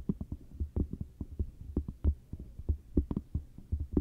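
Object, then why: Cork coaster. Long matte dark nails scratch and tap across the surface of a round, flat, solid cork coaster held close up. About twenty irregular, soft, dull taps land amid low scratching rustle, each short and muffled with a deep thud and little high content.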